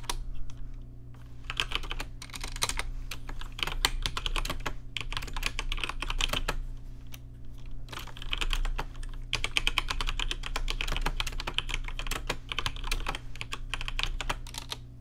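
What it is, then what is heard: Plastic mechanical keyboard. Fingertips type on a rainbow-lit plastic RGB mechanical keyboard with plastic keycaps. Rapid, bright clicks peaking around 3 kHz come in bursts separated by brief pauses, over a steady low hum.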